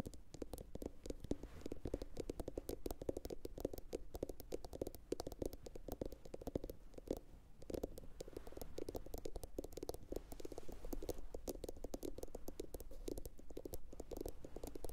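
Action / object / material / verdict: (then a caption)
tap / upturned glossy ceramic bowl / ceramic / none. A medium, hollow, empty blue glossy bowl, likely ceramic, is turned upside down and tapped with long pointed acrylic nails from both hands. The rapid, steady clicking taps blend into a continuous flutter with a hollow, resonant tone around 300 to 500 Hz over a soft low rumble, and each tap dies away almost instantly.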